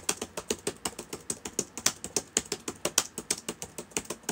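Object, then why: Plastic laptop keyboard. Fingertips of both hands type on the plastic keys of a black laptop with a hollow body, sitting open on a table. About 29 quick, bright, clicky taps come in a steady rhythm, each dying away almost instantly with very little low end.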